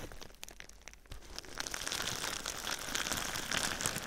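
Fingertips and nails tap and scratch clear plastic bubble wrap wrapped around a binaural microphone. Sparse, soft taps and crinkles give way, after a low thump near the one-second mark, to denser, louder, bright scratchy crinkling. The crinkling continues steadily to the end.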